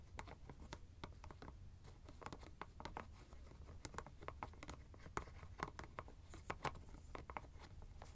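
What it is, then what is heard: Ice bag plastic screw cap. Fingertips twist and scratch the white plastic screw cap of a teal fabric ice bag. They make a quick, irregular run of dry scratches and sharp little clicks over a steady low hum, and each tick cuts off almost at once.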